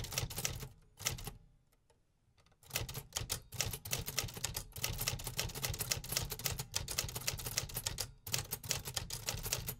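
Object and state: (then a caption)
Metal typewriter keys struck. A 1950s vintage metal typewriter is typed on densely with fingertips, producing rapid, repeated bright typebar strikes over a low mechanical thump. A brief near-silent pause with a few faint clicks falls around two seconds before the typing resumes steadily.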